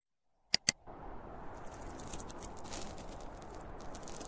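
A closed, hollow, zippered school pencil case of polyester fabric with a printed cartoon panel, lying on a blue plastic lid, gives two sharp, bright clicks. Then comes a steady, dense scratching as fingertips and short nails rub along its top and zipper edge. Crisp, high rasping bursts rise over a soft low rustle for the rest of the clip.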